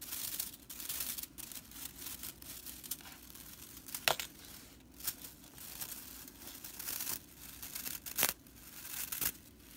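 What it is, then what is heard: Dry straw whisk broom. Long purple nails and fingertips scratch and rake the dry straw bristles of a broomcorn straw whisk broom lying on a wooden table. The result is a bright, dry, crackling rustle that rises and falls irregularly, with a few sharper, louder crisp snaps standing out from the steady scratching.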